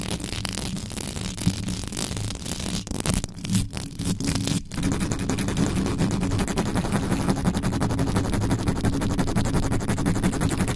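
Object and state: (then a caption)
Metal mesh microphone grille being scratched. A black condenser microphone's hollow metal mesh grille is scratched and rubbed quickly with long yellow nails using both hands. A dense, rapid stream of scraping and scratching with heavy low rumble fills the clip, thinning into a few brief drop-outs around the middle before resuming steadily.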